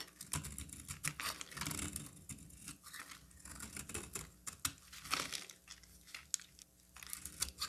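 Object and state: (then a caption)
Bar soap being carved. A solid orange bar soap, held in hand, is carved into flakes with a utility knife blade. Bright, dry scraping and crisp crackling come in a rapid run of short cuts, with occasional sharper snaps as the flakes come away.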